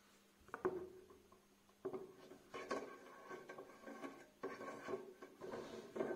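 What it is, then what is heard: Metal wire basket, scratched. Fingertips and nails rub and scratch along the wires of a small, empty, open black metal wire storage basket with a light wooden handle. The result is soft bursts of scraping and light tapping that rise in clusters with a faint, brief ringing around a low-mid pitch. The bursts are separated by quiet gaps.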